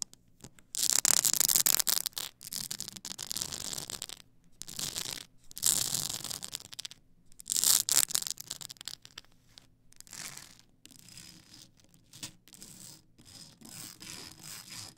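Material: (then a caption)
Plastic. Long acrylic nails scratch across the ridged edges of a tall stack of blank polycarbonate CD-R discs on a plastic spindle. The result is a bright, hissy rasping that comes in bursts, loudest in the first half and then fading to softer, quicker scratches with almost no low end.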